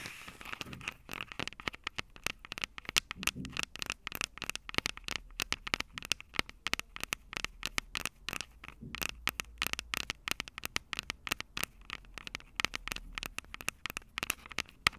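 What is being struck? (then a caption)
Handheld recorder microphone capsules, metal and plastic. Long purple nails rapidly tap and scratch the two silver metal mic capsules on the plastic body of a Tascam DR-05 handheld recorder. The result is a dense, steady stream of sharp, bright clicks and crackly scratches, each dying away instantly with no ringing.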